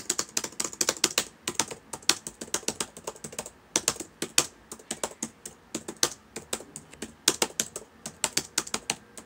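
Fingertips of both hands type on the solid plastic keys of a black laptop keyboard, producing a fast, uneven run of short, crisp clicks. The taps are bright and dry, dying away almost instantly, with brief pauses between bursts and almost no low end.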